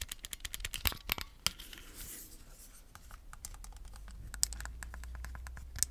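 A single small, hollow red plastic Joy-Con controller is held in both hands while fingers tap and scratch its shell and press its buttons. Quick, crisp, bright clicks and taps come in rapid bursts, with a soft scratchy rustle in the middle. A low, steady hum underlies the second half.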